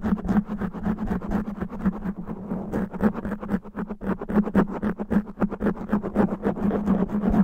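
Both hands scratch the top of a black foam windscreen covering a microphone head with natural fingernails. The result is fast, rough, irregular scratching: a dense stream of crackly bursts with a heavy low, muffled body and a steady low hum underneath.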